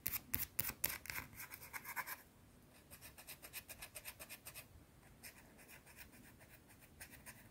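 Long blue nails scratch a small, round, flat, solid white soap bar in fast, crisp strokes. The strokes are loudest and brightest in the first two seconds, then continue as softer, rapid rhythmic scratching. A faint breath may also be heard.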